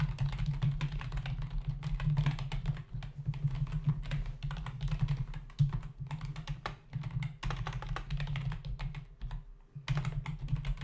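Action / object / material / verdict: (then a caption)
tap / plastic membrane computer keyboard / plastic / none. Fingertips of both hands type fast on a black, full-size plastic membrane computer keyboard with hollow keys resting on a desk. The result is a dense stream of short, hollow plastic taps and clacks over a steady low hum, with brief lulls around 3, 7 and 9.5 seconds.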